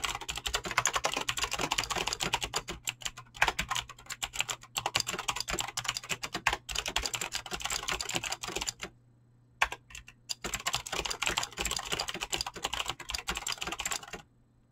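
Fast, continuous typing on a full-size mechanical keyboard with Razer clicky green switches and dyed PBT plastic keycaps, resting on a desk and struck with fingertips and short nails. Dense, bright clicky keystrokes run steadily, break off briefly for about a second near the nine-second mark with only a few scattered presses, then resume before stopping.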